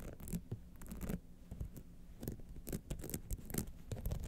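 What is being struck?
Rhinestone-studded clutch wallet with jeweled clasp.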